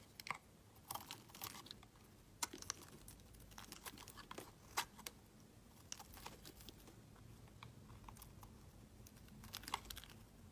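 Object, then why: Bar of soap. A utility knife blade carves and scrapes a solid pale blue bar of soap, taking off chunks and shavings. Quiet, dry, crunchy scraping runs throughout, broken by sharp, bright crackles and snaps that stop dead with no ring.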